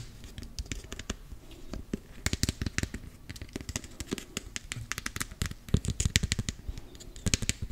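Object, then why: Closed plastic cosmetic tub. Fingernails tap and scratch rapidly on the side of a closed, round, hand-sized body-butter tub with pink label sides, likely plastic. About 35 sharp, dry clicks sound in quick irregular bursts, each with a low thump and a bright edge that dies away almost instantly, with faint scratching between them.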